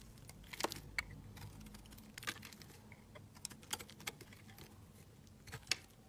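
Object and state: Bar soap being scraped with a blade.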